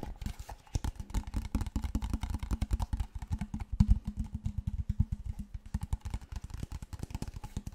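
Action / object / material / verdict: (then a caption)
tap / large plastic water bottle / plastic / none. A large, clear, seemingly empty PET plastic water bottle, held horizontally and then upright, is tapped and scratched with fingertips and nails. It produces a rapid, steady run of dull, hollow thumps with a low, boomy body and a faint scratchy texture. Each tap dies away almost instantly.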